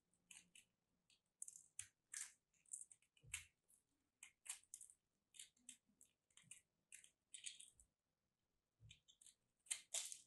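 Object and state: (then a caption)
Starch-coated soap being scraped and cut. A metal craft blade scrapes and cuts into a palm-sized, solid lilac soap chunk crusted with starch, held in both hands, crumbling pieces off. The result is a quiet series of short, bright, crisp scratching and crunching bursts separated by brief pauses, each dying away almost instantly with almost no low end.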